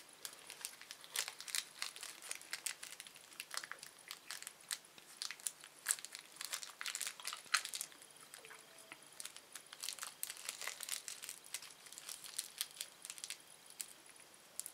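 A small, thin, empty red-orange printed plastic candy wrapper is held between the fingers of both hands above a wooden table and crumpled and crinkled with the fingertips. Quiet, dense, irregular crackles and sharp bright crinkles sound throughout, with almost no low end and very short decays.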